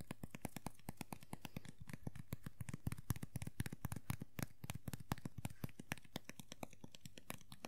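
Fingernails tap and scratch the ridged green vinyl hair of a small hollow vinyl Funko POP figure lying on its side. The result is a quick, uneven run of short, dry taps, about two per second, with soft scratching in between. The taps are quiet and low-heavy, with thin, bright clicky edges and almost no ring.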